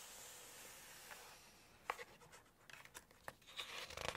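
Long nails tap and scratch the glossy paper page of an open Chinese cookbook at a Poultry section while lifting it. A soft, bright hiss of paper rubbing is broken by sharp, crisp taps and scratches, ending in a louder rustle as the page lifts.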